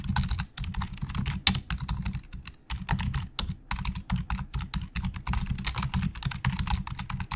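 Fingertips of both hands type fast on the hollow plastic keys of a black plastic Logitech full-size keyboard resting on a desk. The result is a rapid, dense stream of short clacks with a hollow, thuddy low body and bright clicky tops, each key strike dying away almost instantly.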